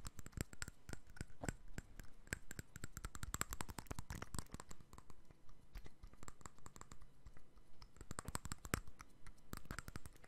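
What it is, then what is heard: Glass perfume bottle tapped with fingernails. A small clear glass perfume bottle with a cap is held in one hand and tapped with the fingertips and nails of the other hand. Quick, irregular, quiet clicks and taps run steadily throughout, each a sharp, short tick with bright edges and a soft low knock beneath, and no ringing afterward.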